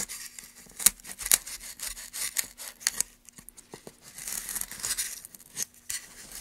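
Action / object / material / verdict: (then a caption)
scrape / pine wood board and steel gouge / pine wood / none. A steel gouge held in gloved hands carves a groove into a solid, light pine softwood plank. Bright, dry scraping and shaving strokes repeat in quick bursts, with a few sharper catches standing out above the steady rasp and a faint steady low hum underneath.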